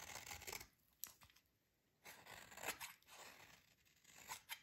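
A metal utility blade quickly rasps and scrapes the surface of a solid, dry, yellow oval soap bar held in the hands. Short, bright, gritty scraping bursts come with sharp little clicks and quiet gaps between them. The sound is crisp and high, with almost no low end.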